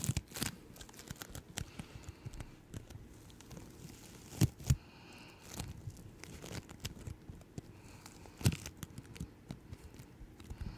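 Yellow-green floam bead slime is held in both hands and squished and stretched by fingertips with long nails. It makes a steady run of sticky crackling and soft tearing, crinkling sounds, with a few louder pops standing out near the middle and toward the end.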